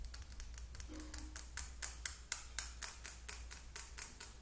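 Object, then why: Plastic lip gloss tube. A small, slim, hollow Sally Hansen plastic lip gloss tube with a pink and purple cap is held in both hands and tapped rapidly with long acrylic nails. About 21 short, bright plastic clicks fall in an uneven, quick rhythm, each dying away almost instantly. A steady low hum sits underneath.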